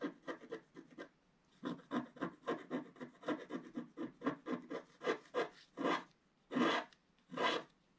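A wooden stylus scratches through the black wax coating at the lower left of a flat scratch art page. It makes a run of quick, dry, rasping strokes, pauses briefly, then continues with more short scratches. It ends with three longer, brighter strokes.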